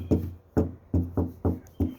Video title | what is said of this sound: Painting against all odds! - The Patriotic Pickup - Part 10 | it still sounds like metal though